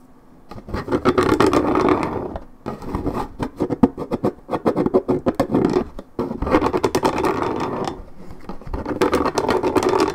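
Long red nails scratch and rub the coated cardboard surface of a 1.75 L Minute Maid paperboard orange juice carton. Dense, gritty scratching comes in several bursts separated by brief pauses, mostly in the low-mid range with sharp clicky edges. Each stroke stops dead with almost no ring.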